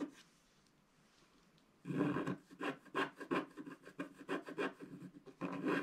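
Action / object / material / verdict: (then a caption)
scrape / wax-coated scratch art paper card scratched with a wooden stick / waxed paper / none. A wooden stick scratches the cloud areas at the top right of a flat black wax-coated scratch art paper card. After almost two seconds of near silence, a rapid run of short, dry rasping strokes follows, each a brief bright scrape over a low papery rub.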